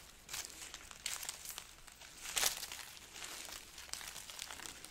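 A hanging strand of dried, hollow red chili peppers is rubbed and scratched with long nails and fingertips. This produces a steady run of quiet, dry, bright crinkling and crackling. Short papery scratches come in uneven bursts, with a louder crackle near the middle.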